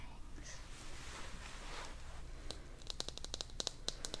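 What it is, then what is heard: Small vinyl toy figure tapped with fingernails. Long dark nails tap a small, teal, hollow vinyl toy figure. After about two and a half seconds of soft, airy rustling over a low hum, a quick, uneven run of sharp, clicky, typewriter-like taps begins. Each tap is short and bright, with almost no ring.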